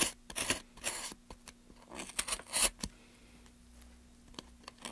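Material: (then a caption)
Pine wood. Gloved hands hold a solid, light pine softwood plank steady while carving its end with a small blade, scraping and cutting the wood. Bright, dry scraping strokes and short crisp cuts come in quick bursts through the first three seconds over a faint steady low hum, then thin out into a quieter stretch with a few light scratches near the end.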